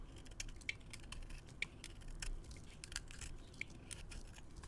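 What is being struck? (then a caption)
Bar of soap scraped with a metal blade. A metal blade scrapes fluffy shavings off a solid white soap bar with a dark rim held in the hand. Quiet, crisp scratches and bright, sharp clicks repeat over a low, steady rumble.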